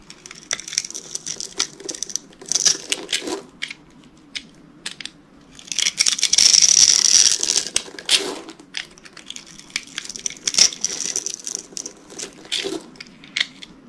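A utility knife blade carves and scrapes scored cubes and slices off a solid rectangular green bar of dry soap held in one hand. Dry, bright crunches and crackles come in quick irregular bursts, with a longer, louder run of scraping in the middle. Each sound stops sharply with no ring.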